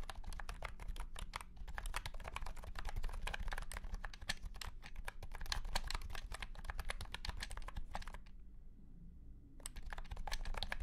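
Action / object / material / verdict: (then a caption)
tap / plastic keyboard with round plastic keycaps / plastic / none. Fingertips of both hands type rapidly on a white and pink cat-shaped keyboard with round plastic keycaps set in a hollow plastic case. The result is a dense run of short, bright, clacky key hits over a steady low rumble. The typing stops briefly near the end, then resumes.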